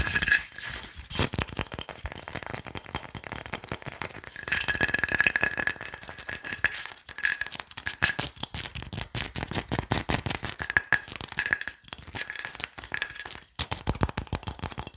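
A large, hollow, carved wooden pilón mortar is held close while long nails rapidly tap and scratch on its wooden sides and base. The result is dense, fast clicking with a bright, rattly edge, recurring tonal rings near 1.7 kHz, and occasional brief pauses.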